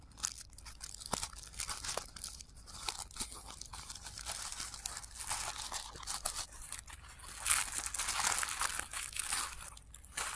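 Both hands crumple and rub the petals of a blue tissue paper flower with their fingertips, with the sound played in reverse. A dense, bright crinkling and crunching runs throughout in quick rustling bursts, swelling louder near the end before easing off.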